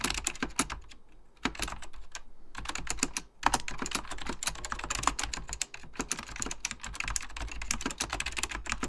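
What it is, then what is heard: Plastic computer keyboard. Fingertips of both hands type on a full-size beige plastic Apple Extended Keyboard II with mechanical key switches. A rapid, steady stream of sharp, bright clacks and low thock-like bottoming-out follows, with each click stopping almost instantly. Brief lulls come just after one second and again around three and a half seconds.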